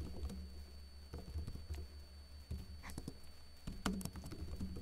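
Fingertips with short blue-painted nails tap slowly on a backlit plastic laptop keyboard with hollow keycaps. The light, hollow clicks and soft patter sit over a steady low hum, with brief brighter ticks from the nails.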